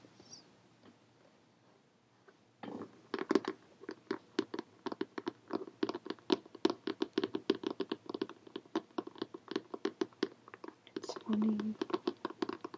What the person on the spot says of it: sounds a little different when you're tapping on it